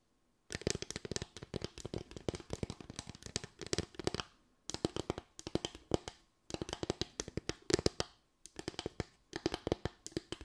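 Long white nails rapidly tap and scratch across a solid, flat bamboo slatted board with raised parallel slats. The result is dense bursts of dry, crisp clicks with a faint woody tone and almost no ring, broken by brief pauses.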